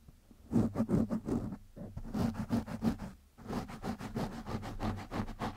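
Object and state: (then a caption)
Foam microphone windscreen being scratched. Fingertips and nails scratch and rub the surface of a black foam windscreen over a microphone. The result is a fast series of short, crackly scratching bursts with a steady low hum underneath, each burst fading quickly.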